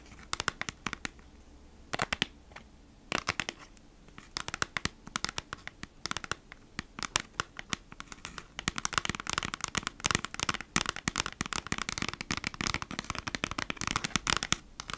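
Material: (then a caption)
Cardboard. A flat cardboard product package is held sideways while long nails quickly tap and scratch its printed cardboard front. The result is rapid, dry, bright clicks and scratchy rasps with no ring, sparse at first and growing denser and busier in the second half.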